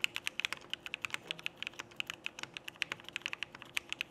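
A Frog mechanical keyboard with cream XMI Cyrillic plastic keycaps, Cherry Black switches and an aluminum plate is typed on with the fingertips of both hands in steady, fast presses. About 31 short, bright, clacky keystrokes follow each other rapidly, each snapping off at once with almost no low end or ring.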